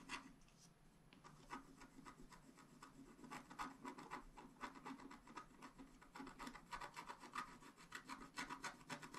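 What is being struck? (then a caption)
Scratch art paper card scraped with a wooden stylus. A wooden stylus scratches the coating off the top-left corner of a flat scratch art paper card lying on a table, using fast strokes. Quick, dry, rasping scrapes repeat in an uneven rhythm, with a bright papery hiss and little low end.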